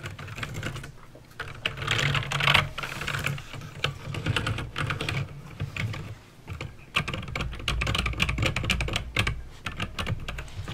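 Fingertips type steadily on a backlit mechanical keyboard with plastic keycaps and clicky green switches. The result is a dense run of sharp, bright clicks over a low, hollow thud from the keys bottoming out. Brief pauses come around the 1.5- and 6.5-second marks.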